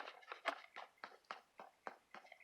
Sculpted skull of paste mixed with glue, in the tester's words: I mix it with the glue and it becomes really hard you can hear that